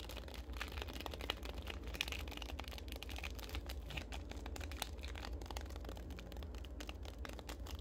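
A small, full Larabar fruit-and-nut bar in a purple and red plastic film wrapper is handled close to the camera, tapped, scratched and crinkled quickly with long acrylic nails. Dense, rapid, short bright crackles and clicks run throughout over a steady low hum.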